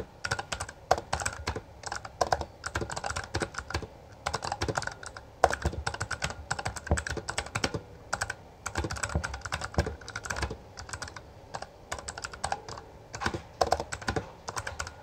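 Both hands type continuously with their fingertips on a full-size black plastic Bloody B820R mechanical gaming keyboard with backlit keycaps and a hollow housing, pressing and striking the keys. Fast bursts of sharp, clacky keystrokes with brief pauses between them have a hollow, mid-pitched body around 750 Hz and bright clicks that stop almost instantly.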